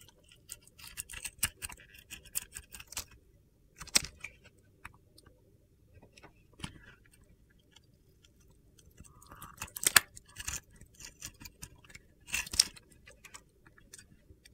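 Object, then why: Glitter-coated white soap bar. A solid white soap bar with a remaining glitter coating is held in the hand and its surface is shaved with a metal utility knife blade, sending flakes falling. The scraping makes quiet, bright, gritty crunches in irregular bursts, with sharper, louder scrapes around the middle and near the end.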